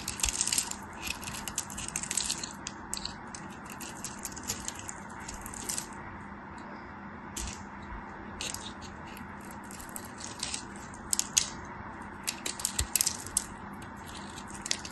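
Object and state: Dry bar soap being cut.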